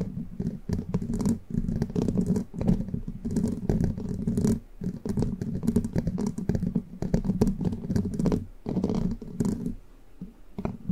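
Long pointed plastic witch-finger nail caps with red tips, worn on all fingers of both hands, scratch and tap the hollow, rounded metal mesh grille of a large condenser microphone. The result is a dense, continuous stream of rapid, dull scratches and taps, heavy in the low end, with a boomy hum around 180 Hz. Brief pauses break the flow around 4.7 and 8.6 seconds.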